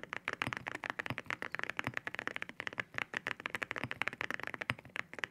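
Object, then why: Mechanical keyboard with ceramic keycaps. A white 65% mechanical keyboard fitted with ceramic keycaps, lying on a desk, is typed on rapidly with the fingertips of both hands. Each press makes a short, sharp, bright clack with very little low end, and the presses form a quick, steady stream of clicking taps.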